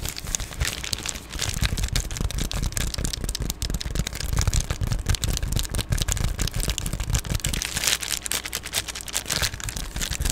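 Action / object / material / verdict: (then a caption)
scrape / padded plastic bubble mailer / plastic / none. An Amazon Prime padded poly bubble mailer, held close to the camera, is tapped and scratched with long glittery nails. The result is a dense, continuous run of crinkly taps and scratches with bright crackle on top and a heavy low thump underneath, steady throughout.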